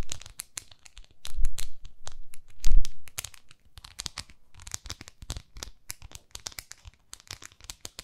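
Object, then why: Small plastic facial cleansing brush. Long nails scratch and tap a small pink plastic facial cleansing brush pad. Crinkly, tearing-like scratches swell twice in the first three seconds, then give way to a fast, uneven run of sharp, bright clicks with a low rumble underneath.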